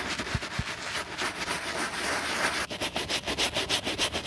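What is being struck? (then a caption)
Quilted leather handbag. A bristle brush scrubs the foamy side of a black quilted leather handbag, producing a steady, bright, hissing scratch. After a brief pause, the scrubbing settles into a quicker, rhythmic back-and-forth of strokes, each one swelling and fading in turn.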